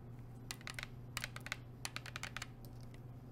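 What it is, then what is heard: Plastic water bottle tapped with nails. Long nails tap a hollow blue plastic sports water bottle in quick, irregular bursts, giving sharp, bright clicks that die away almost instantly. A steady low hum runs underneath throughout.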